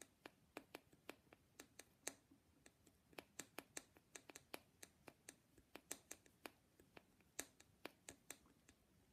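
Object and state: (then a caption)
Painted wooden nesting doll. Long glittery painted nails, on black-gloved hands, tap and scratch a small hollow lacquered wooden matryoshka nesting doll with a teal dotted headscarf; other dolls sit untouched nearby. About thirty quiet, sharp, bright clicks sound at an irregular pace, each dying away almost instantly over a faint low hiss.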